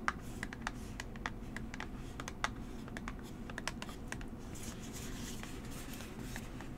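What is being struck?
Small cardboard box.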